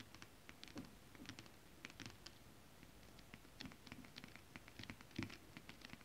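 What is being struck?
Holographic scale-printed fabric.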